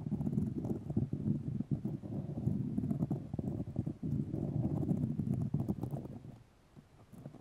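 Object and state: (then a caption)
Fiberglass mesh tape. White fiberglass grid mesh tape wrapped around a microphone is scratched with the long nails of both hands. A dense, rapid, uneven scratching and tapping texture with a low, muffled body continues for about six seconds, then fades to sparse, quieter scratches.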